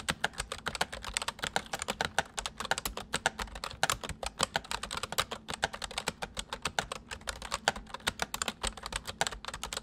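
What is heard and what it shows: Fingertips of both hands type rapidly on a white, full-size plastic mechanical computer keyboard. A steady stream of sharp, bright clicks and clacks follows, each keystroke short and dying away almost instantly, with little low-end weight.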